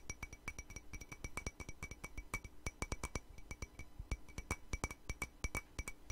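A white patterned ceramic mug, hollow and empty, is tapped rapidly with long nails. The many quick, sharp clicks die away almost at once, and each carries a faint bright ring above a low, dull thump.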